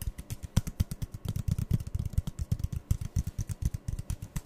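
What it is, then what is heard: Empty cardboard tubes. Fingertips and nails rapidly tap two identical empty, hollow brown cardboard toilet-paper tubes, one held in each hand. The result is a quick, uneven run of about thirty short, dry taps. Each tap is a dull hollow thump centered near 110 Hz with a faint bright click on top, and it dies away almost instantly.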